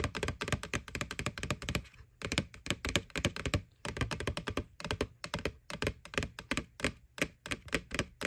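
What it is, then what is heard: Plastic Halloween bucket. Fingertips and nails tap quickly on the side wall of a white, hollow, bucket-sized plastic McDonald's Boo Bucket with a ghost face. The rapid run of dry taps mixes a hollow low thunk with bright nail clicks, coming in bursts with brief pauses. Each tap dies away almost at once.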